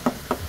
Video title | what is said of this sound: Tapos na sa Primer at pamondong kulay, habol habol na lang sa mga makikita pang problema sa body | Hindi ganun kakapal yung masilya ang ginamit natin. Lata pa rin pag kinatok.